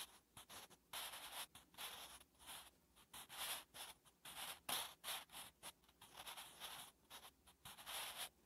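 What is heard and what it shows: A wooden graphite pencil held in the fingertips writes Korean letters on a thin lined notebook page lying on a flat surface. Its graphite tip scratches across the paper in short, bright, papery strokes with brief pauses between them. The strokes stay soft and close throughout.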